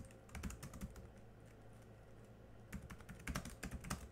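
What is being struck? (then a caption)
Plastic laptop keyboard keys. Both hands type quickly with their fingertips on a laptop keyboard with black plastic keys, making short, crisp clicking taps. A burst of typing is followed by a quieter stretch with only light taps, then another fast run of keystrokes over a steady low hum.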